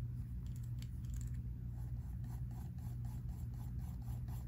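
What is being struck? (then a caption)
Pencil on paper sketchbook page. A pink mechanical pencil scratches and shades across a page of a spiral-bound sketchbook in rasping strokes. Faint, dry scratching strokes repeat steadily, growing more regular in the second half. They sit over a constant low hum.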